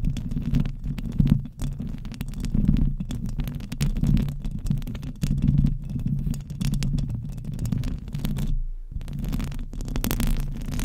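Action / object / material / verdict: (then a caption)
scrape / metal mesh microphone grille / metal mesh / none. Long nails from both hands scratch fast across the hollow metal mesh head of a silver condenser microphone. The result is a dense, continuous low rumble and thumping with crackly, bright scratchy streaks on top, broken by a brief near-silence just before the end.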